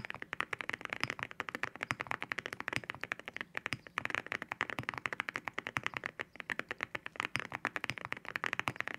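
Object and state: Mechanical keyboard with ceramic keycaps.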